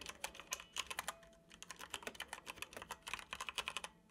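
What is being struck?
Plastic computer keyboard.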